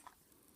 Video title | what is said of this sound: Suomi Magazine Loading Tips: 9MM | shake it and here there's no rattling